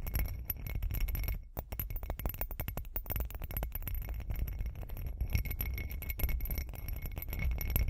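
Long acrylic nails rapidly tap and scratch the bumpy surface of a hand-sized hollow textured glitter glass cup. Dense, fast clicks and scrapes run throughout, with a strong low rumble underneath and faint steady high tones. There is a brief dip in loudness just before the two-second mark, and the result is a continuous crackly, clinking texture.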